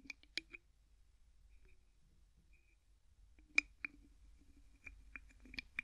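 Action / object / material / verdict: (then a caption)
scrape / plastic bottle with plastic screw cap / plastic / none. A small, hollow clear plastic bottle with a white plastic screw cap is held in one hand while the fingertips of the other grip and twist the cap. Sharp, bright clicks are heard in a cluster at the start, then after a near-silent pause they repeat more rapidly toward the end, each clicking crisply and dying away almost instantly.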